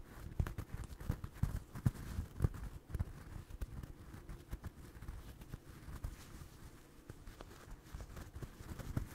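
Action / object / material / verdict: scrape / stuffed crocheted yarn toy / yarn / none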